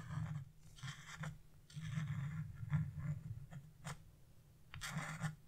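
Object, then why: Wax-coated scratch-art paper scraped with a flat chisel. A flat wood-carving chisel scrapes the black wax coating off a scratch-art coloring page with a bird and rider design, leaving coating flakes behind. Short, dry scraping strokes come in bursts of soft, bright rasping over a steady low hum.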